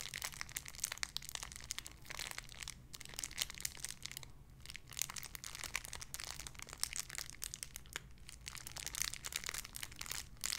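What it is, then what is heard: Plastic bag with squishy toy. Fingertips crinkle and squeeze a small clear plastic bag holding a soft white-and-pink squishy toy. Dense, bright crackles and crunches run steadily through the clip with short quiet gaps, over a faint low hum.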